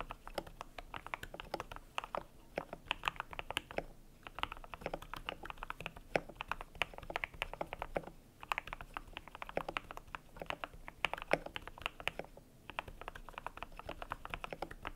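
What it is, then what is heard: Plastic mechanical keyboard with PBT keycaps. Fingertips type steadily on a cream compact mechanical keyboard with PBT plastic keycaps, making a rapid run of short, dry clacks. The typing comes in bursts separated by brief pauses, with each keystroke a crisp, bright tap centered in the midrange that dies away almost instantly.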